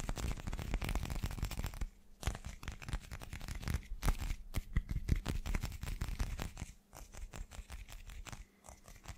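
A hand-sized, irregular, solid translucent teal chunk that looks like rough glass (possibly clear resin) is held in both hands and tapped very fast with fingertips and short nails. The result is a dense stream of quick, dry, crunchy taps and clicks, with brief pauses where the tapping thins out.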